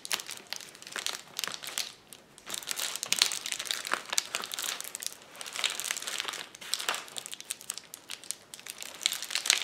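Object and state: Plastic bubble wrap sheet.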